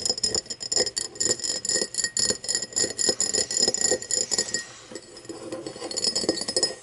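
Long nails tap and scratch the side and base of an empty, hollow cut-crystal tumbler lying on its side. Quick, irregular, bright glassy clicks with very short ring fill most of the clip. Around the fifth second they give way to a softer scratching stretch before the taps pick up again.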